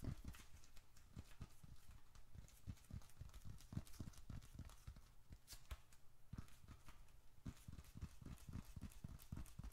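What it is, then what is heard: Leather bifold wallet. A small, closed, dark red leather bifold wallet, hollow with bills and receipts inside, is held in both hands and rapidly tapped with the fingertips on its outer faces. The result is a quick, uneven run of soft, dull, low thumps that die away almost instantly, with a faint papery brightness on some taps.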